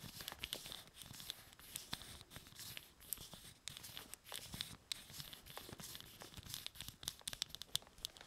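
Fingers scratch and rub a small, hollow plastic Evil-Lyn action figure held in both hands, moving its limbs. Soft, dense, bright scratching and crinkly rubbing mix with quick, sharp plastic clicks and ticks, all at a quiet level.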